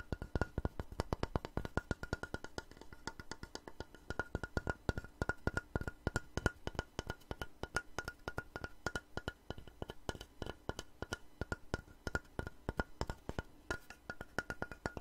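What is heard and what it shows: A long, light, solid wooden plank held horizontally is tapped and scratched with long nails. Rapid, dry, woody taps fall in a steady, dense stream for about fifteen seconds, each dying away almost at once, with a soft low body and a faint ringing tone beneath.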